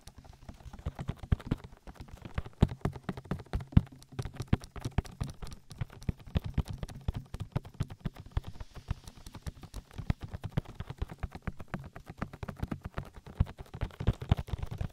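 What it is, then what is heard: Silicone microphone ear being patted. Fingertips pat an oily silicone ear on a binaural microphone in a rhythmic, knock-like way and rub it. The result is a dense run of quick, soft, low thumps with a faint slick rubbing between them.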